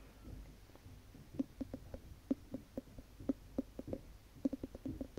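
Long nails tap and scratch the ribbed glass lid of a large wax-filled Yankee Candle jar. Quick, dry, clicky taps with a low-mid knock fall in an uneven rhythm over a faint scratching hiss, each dying away almost at once.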